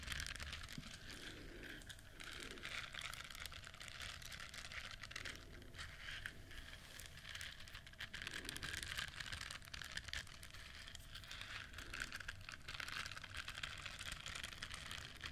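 Long nails scratch the soft bristles of a yellow silicone duck-shaped scrubber with an orange beak, held close to the microphone. The result is a quiet, steady, crinkly scratching with a bright, hissy texture and many quick, soft ticks running throughout.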